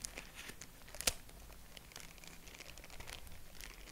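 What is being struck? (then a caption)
Honeycomb tissue paper. Purple tissue-paper honeycomb is fanned and pinched with fingertips, giving a soft, steady crinkling with bright, papery rustle. One sharper crackle stands out near the one-second mark, over a faint low hum.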